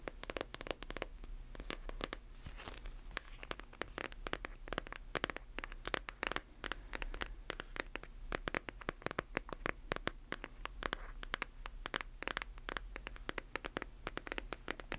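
Long nails tap and scratch across the front cover and edges of a closed hardcover book, making a dense run of quick, dry clicks mixed with rough scraping. Each tap is sharp and dies away at once, over a steady low hum.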